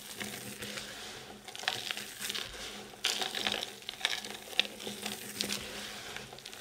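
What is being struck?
Pile of soap shavings.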